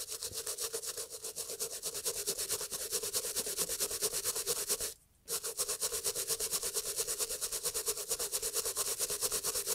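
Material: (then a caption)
Leather. A toothbrush scrubs back and forth along the leather and welt of an empty, hollow Italian loafer in brown leather with beige textile panels, tilted in a gloved hand. It makes a bright, dry bristle scratching in quick strokes of a little over two per second. The strokes stop briefly around the five-second mark, then resume at the same pace.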